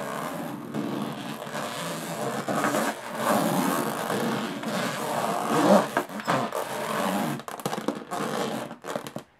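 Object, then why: Aluminum carry case with diamond-textured panel. Long polished nails tap and scratch across the fine diamond-textured top panel of a medium hollow aluminum carry case with an aluminum frame and metal latches. A steady, gritty scraping rasp with a hollow, boxy body swells and fades in uneven strokes. Near the end it breaks into quicker, choppier scratches and taps with short gaps between them.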